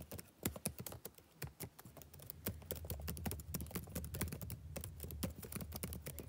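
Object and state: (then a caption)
Laptop keyboard typing. Fingertips type steadily on a black plastic backlit laptop keyboard, producing quick, light clicking keystrokes in an uneven rhythm. From about two seconds in, a steady low hum sits beneath the clicks.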